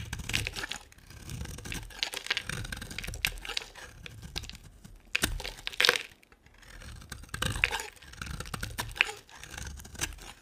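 A solid, hand-sized white oval bar of dry soap with a ribbed edge is carved and scraped with a utility knife blade. Bright, dry scraping and crumbly crackling come in bursts of quick, sharp cuts, with occasional louder cracks as pieces break away.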